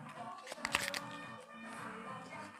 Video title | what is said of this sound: INSALATA DI CARCIOFI CON ALICI SOTT'OLIO OLIVE E CROSTINI - la video ricetta di Chef Max Mariola | bello fresco bello scrocchiarello senti un po'